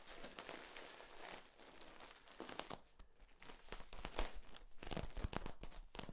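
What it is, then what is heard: Corrugated plastic tube. A hand grips and squeezes the ribs of a long, hollow, flexible yellow corrugated plastic tube held upright. It makes a run of dry crinkling and crunching clicks with sharp, bright snaps that stop almost at once, over a low rumble.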